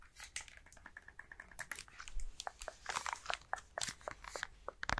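A plastic Nintendo Switch handheld game console with its Joy-Cons attached is held in both hands and tapped and scratched with fingertips and nails. A quick, uneven run of sharp, dry clicks and taps mixes with soft scratching rasps, all at a low level.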